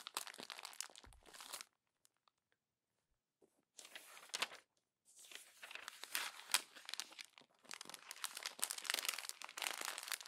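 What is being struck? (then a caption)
Glossy paper magazine pages. Pages of an open glossy paper magazine are bunched and crumpled in the fist and fingertips, making dense bright crinkling and crackling. The bursts come in three stretches, split by a long pause and a shorter one, with the last stretch running busiest to the end.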